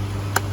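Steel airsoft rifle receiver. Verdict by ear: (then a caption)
Real. A single knock on the steel receiver body of an Arcturus AK-12 airsoft gun gives a short, sharp metallic tick with a clear tone around 400 Hz and bright overtones. It rings for about a quarter second over a steady low hum. The knock sound shows the body is real steel, not plastic or fake metal.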